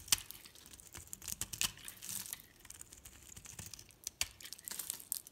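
A metal blade cuts and scrapes layered shavings off a solid green soap bar with pink edges held in the hand. The result is a quiet run of dry, crisp crackles and short tearing scrapes that are bright and high with almost no low end, each snap dying away instantly.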